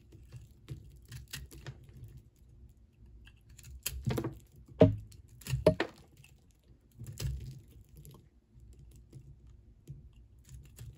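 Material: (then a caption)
Soap. A flat metal blade is scraped repeatedly across a hand-sized solid ball of multicolored pink and blue soap held in one hand, shaving off soap crumbs. Soft, uneven rasping strokes with a dull, low body and brief bright crackles come at an irregular pace. The loudest scrapes fall in the middle of the clip.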